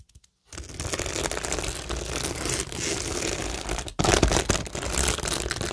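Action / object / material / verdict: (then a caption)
scrape / cork board covered in acrylic rhinestones and faux pearls / acrylic, cork / none. Long acrylic nails scratch and tap across a flat, solid framed cork board covered in stick-on acrylic rhinestones, faux pearls and gem flowers. After a short quiet start, a dense, bright crinkling scratch runs continuously over a low rumble, briefly drops out near four seconds, then resumes slightly louder with rapid clicky taps.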